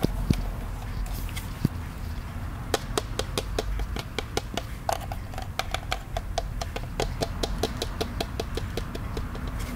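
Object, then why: Hollow plastic popcorn bucket tapped with fingertips. A hollow plastic ghost-shaped souvenir popcorn bucket, held in both hands in front of the face, is tapped with the fingertips. A few scattered taps give way to a steady, fairly quick run of short, dry, bright clicks that die away almost instantly. A low, constant rumble sits underneath throughout.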